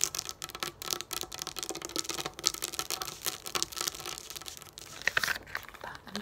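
Long nails quickly tap and scratch across a flat sheet of raised plastic pop-up dot dome stickers lying on a table. The result is a dense, continuous stream of crisp, bright clicks and dry scratchy rasps with almost no low end, and each tap dies away instantly.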